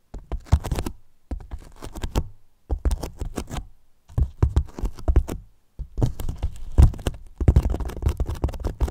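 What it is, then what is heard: Hollow foam box. Fingertips quickly tap and scratch the top and edges of a large, hollow white polyethylene foam box. Rapid clusters of soft, dull taps and scratchy rubbing come in bursts separated by brief silences. The sound is a low, hollow thump centered around 70 Hz, with almost no bright content and very short decays.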